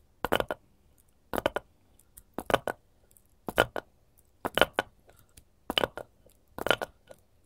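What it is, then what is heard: Wooden cutting board. Long gold metal claw-tip nails on both hands tap and scratch the face and edges of a solid, light wooden cutting board held upright. Seven evenly spaced bursts of quick, dry clicking taps with a woody midrange and bright nail scratches die away almost instantly. Short quiet gaps fall between the bursts.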